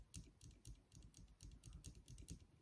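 On an Awesomatix A12 RC car, lifting the wings makes the metal droop (set) screw in the damper tap on the crossbar at the back of the pod. The result is a quick series of light, dry clicks with almost no ring. This normal quick check shows a very small gap when the car is settled, meaning it has a small amount of droop.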